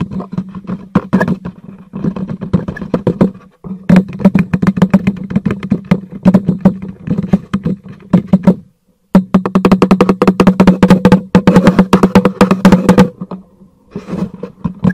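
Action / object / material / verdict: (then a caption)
tap / cardboard box / cardboard / none. A black cardboard product box, held upright, is tapped on its face with the fingertips of both hands. The result is rapid, dense bursts of short, dull, low-pitched thuds with almost no ring, broken by brief pauses near 3.5 and 9 seconds.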